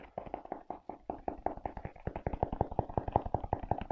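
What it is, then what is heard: Leather and rubber sneaker. A rubber-soled leather velcro sneaker is gripped and tapped with fingers on its leather upper and straps, then on its treaded rubber sole. About thirty quick, dry taps follow in a steady stream, with a mid-pitched knock around 800 Hz. After the first two seconds they turn louder and fuller with more low thump.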